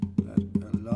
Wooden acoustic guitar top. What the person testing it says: If you tap the top of the guitar, you'll see that a lot of response there